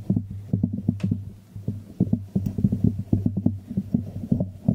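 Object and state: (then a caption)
Hollow ceramic jar. A small hollow white ceramic jar, held upside down in both hands over the microphone, is tapped and scratched by fingertips and nails on its glazed base and sides. Quick, dull, hollow taps and scratches come in irregular bursts over a low, resonant hum. The result is a muffled, throbbing rhythm of short knocks.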